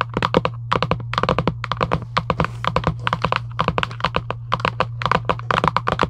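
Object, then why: Cardboard card box tapped with fingernails. Both hands tap quickly with long acrylic nails on a flat, printed cardboard UNO card box resting on a table. Quick bursts of short, crisp clicky taps die away almost instantly, with a steady low hum underneath throughout.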